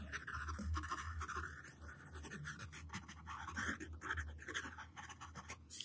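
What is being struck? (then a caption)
Wooden pencil on paper sheet. A yellow wooden pencil tip drags across a flat white paper sheet resting on a table, drawing lines and letters. The result is a steady series of dry, irregular scratching strokes with a bright, papery hiss and a faint low hum underneath.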